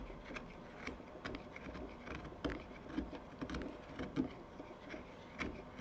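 A steel knife blade carves repeated short strokes into the surface of a small wooden tobacco pipe bowl held in the palm. The whittling produces quiet, dry scrapes at an uneven pace, each with a soft woody body and a brief bright edge that fades quickly.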